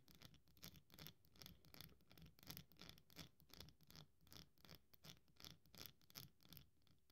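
A small carved piece of very dry solid soap, held between the fingers of both hands, is crumbled and scratched with long nails and fingertips over a pile of crumbs. Quiet, dry, bright scratchy crunches repeat in uneven bursts at a steady brisk pace, each with a soft low thud underneath and almost no ring after it.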